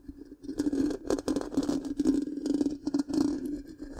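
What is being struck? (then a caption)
Metal mesh microphone grille. Long pink-painted nails scratch the black, round, hollow metal mesh grille of a large microphone. The result is a continuous, uneven scratching and rasping with a steady hollow tone around 266 Hz and quick bright ticks as the nails drag across the mesh.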